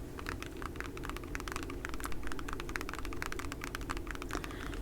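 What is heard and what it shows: A nail tools case is tapped rapidly with natural fingernails, giving a dense run of light, sharp clicks. The taps sit over a steady low background hum.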